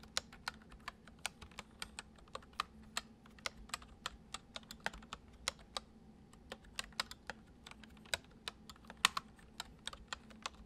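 Fingertips of both hands gently type on a full-size white plastic computer keyboard resting on a wooden desk. About 35 short, bright key clicks fall in an uneven rhythm, each dying away almost instantly, with a brief pause near the middle. A faint steady low hum sits underneath.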